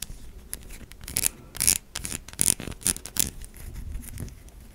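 Long nails rapidly scratch across the surface of a white, solid, stamped bar of soap. Quick bursts of bright, dry scraping come in uneven clusters, the loudest around the middle of the clip, over a soft, low background rustle.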